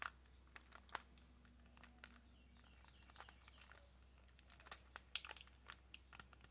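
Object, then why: Small cardboard box in plastic wrap. Long nails tap and scratch a small, hollow white cardboard nail box wrapped in clear plastic. Quiet, bright, crinkly clicks and rasps come in scattered bursts, each dying away almost instantly over a steady low hum.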